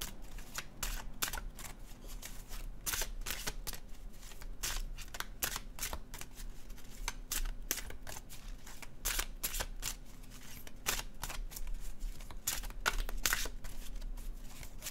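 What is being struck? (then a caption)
Cardstock tarot card deck. A small, solid stack of gilt-edged cardstock tarot cards is overhand-shuffled in the hands with the fingertips above a cloth-covered table. The cards slide and rub together in a steady stream of quick, crisp, bright papery flicks and soft slaps. A faint low hum runs underneath throughout.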